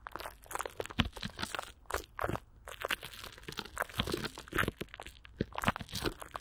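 Clear plastic wrap with Vaseline is stretched over a hollow microphone grille while one hand wraps around it and the fingers rub and squeeze the film. This produces dense, crackling crinkles and crunches in quick irregular bursts, with bright high crackle over a low, close thump.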